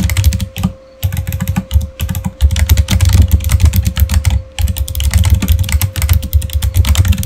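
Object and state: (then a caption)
Plastic computer keyboard being typed on. Fingertips type rapidly on a full-size, backlit, solid plastic Razer gaming keyboard, producing dense, deep, thocky keystrokes with bright clicky edges. Brief pauses break the flurries, and a faint steady tone hums underneath throughout.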